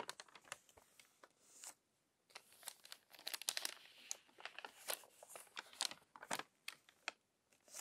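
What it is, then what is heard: Crumpled paper magazine. A crumpled paper magazine has its pages turned quickly by hand, making a crinkly flutter. Dense, bright crackles and sharp rustling bursts come in irregular clusters, with a brief quiet gap near the two-second mark. There is almost no low end.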